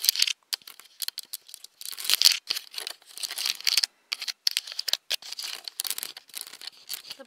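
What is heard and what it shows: Fingertips and long nails scratch and tap the plastic body and lens of a handheld, hollow black Nikon DSLR camera. A rapid, uneven run of dry, bright scratches and crisp clicks is heard, with almost no low end and no ring after each touch.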